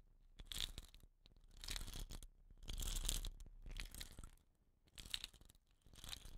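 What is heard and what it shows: Long nails scratch the woven rattan wrapping at the ends of a hollow wooden rain stick lying sideways. Bursts of dry, bright scratching and crinkling rise and fade in uneven waves, with a faint low rumble underneath.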